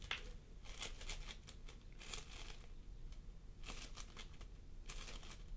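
Fingertips of both hands press and squish a pastel mound of floam sculpting foam made of polystyrene beads on a wooden table. Soft, bright crackling and crinkling bursts come in repeated clusters over a low, quiet background rumble.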